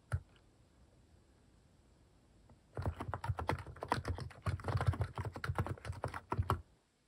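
A plastic mechanical keyboard with cat-shaped plastic keycaps is typed on rapidly with fingertips. After a single early click and a quiet pause, a dense run of clacky key presses with a deep low thump fills the rest of the clip before it stops abruptly.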